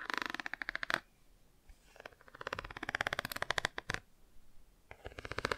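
Long nails rapidly tap and scratch the textured car page of a cardboard board book held open at an angle. Quick runs of dry, bright clicks and scratchy ticks come in bursts, separated by short near-silent gaps.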